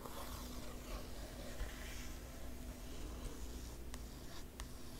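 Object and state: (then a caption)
Glossy book page being scratched. A long fingernail traces across an illustration on a glossy page spread of an open hardcover art book. It makes a quiet, soft, papery scratching and rubbing, with faint brief ticks near the end over a steady low hum.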